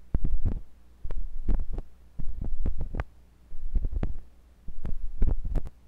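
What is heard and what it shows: A thin metal pointed sculpting tool with a wooden handle, held by fingers with long pink nails, scratches and pokes inside the ear canal of a white silicone ear on a block-shaped binaural microphone. Five bursts of dense, deep, rumbling scraping and thudding come in a loose rhythm, separated by near silence. Sharp taps and clicks reach into the high range.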